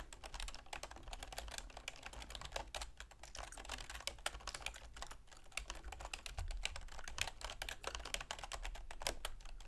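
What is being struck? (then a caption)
Plastic computer keyboard. A full-size black plastic computer keyboard with a silver plastic frame, resting on a wooden desk, is typed on rapidly with long manicured fingernails and fingertips. Quick, dense clicks and taps run continuously over a steady low hum, each bright key strike short and dry.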